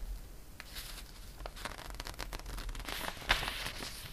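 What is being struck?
Glossy paper catalog page.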